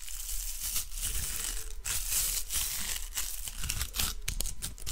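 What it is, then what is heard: Plastic hair roller. Long nails and fingertips scratch and tap a small, hollow, spiky-textured pink plastic hair roller. The result is a close, continuous crinkly scratching with bright, high edges, broken by irregular light taps over a steady low rumble.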